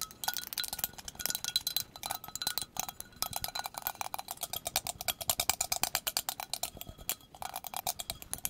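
A hand-sized, empty white ceramic coffee mug with a handle and printed text ('Cup of Sunshine') is held near the microphone and tapped fast with long pointed acrylic nails. The result is a rapid, dense stream of bright, clicky taps with a faint ringing tone around 770 Hz and almost no low end. The taps fall in uneven bursts with short pauses between them.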